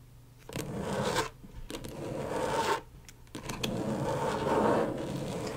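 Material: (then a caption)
Plastic. Long stiletto nails from both hands tap and scratch rapidly on the plastic surface of a flat, thin, backlit rectangular LED tracing pad. The result is dry, raspy scraping with a mid-range focus around 470 Hz and faint high hiss, coming in three long bursts separated by brief quiet gaps with a few light taps.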